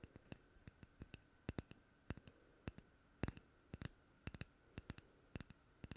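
A small, hollow, unfinished light wooden cup or ring, empty and held in one hand, is tapped with the long manicured fingernails of the other hand. Quick, irregular, dry clicks come in loose clusters, each dying away almost instantly with a bright edge over a quiet background.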